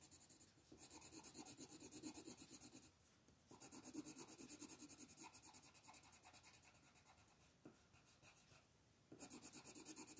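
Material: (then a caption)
Paper. A teal colored pencil rubs and scratches across a paper coloring book page on a table in rapid shading strokes near the stones. Quick, steady, bright scratchy strokes run throughout, dropping off briefly around three seconds and again near nine seconds before resuming.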